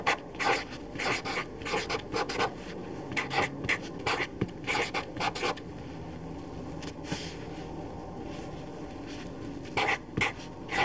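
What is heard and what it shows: A black permanent felt-tip marker writes on a white paper sheet on a table, its tip rubbing and scratching across the paper in short bursts of bright, squeaky strokes. Clusters of strokes come in the first half and again near the end, with a quieter stretch of low background hum in between.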